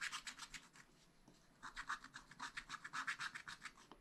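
A wooden stylus scratches lines into the black coating of a spiral-bound scratch-art pad, tracing an ornament shape. Quick, bright, dry scratching strokes come in a rapid series. They fade to near silence for about half a second, then resume with louder, sharper strokes.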